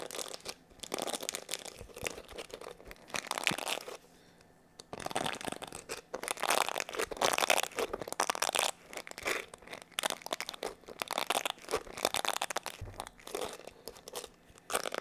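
Fingertips rub and scratch the plastic bristles and curved plastic back of a black plastic hair brush held close up. The result is dense, bright, crinkly scratching in rapid bursts, with a brief quiet lull around four to five seconds before the scratching resumes.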